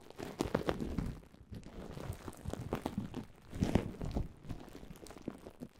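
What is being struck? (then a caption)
Plastic bubble wrap. A large loose heap of clear plastic bubble wrap with hollow air cells is scratched and squeezed by long polished nails and fingertips. Dense, low crinkling and soft crunching comes in bursts, with short, dry, clicky ticks throughout.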